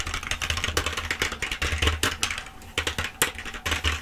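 A black plastic full-size keyboard, held upright, is typed and tapped on quickly with long acrylic nails. The result is a dense run of sharp, bright clicks and clacks, each very short, with a faint low hum underneath and a brief quieter pause midway.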